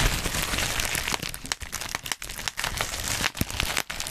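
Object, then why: Plastic bubble wrap sheet. A black plastic bubble wrap sheet is held and twisted in both hands beside the mic while fingertips pinch, pop and crinkle the bubbles. Dense, bright crinkling runs throughout, broken by sharp snapping pops and brief quieter gaps, with a soft low rumble underneath.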